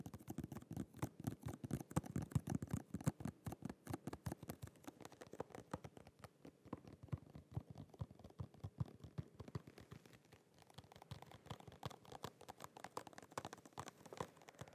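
Fingernails tap and scratch quickly across the surface of a small holographic cardboard and plastic press-on nail package with a plastic window. The result is a dense stream of short, dry, low-pitched clicks and scrapes, softer for a moment around ten seconds before picking up again.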